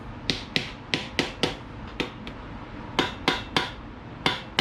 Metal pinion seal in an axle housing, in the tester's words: kind of hear that solid sound that means you're all the way in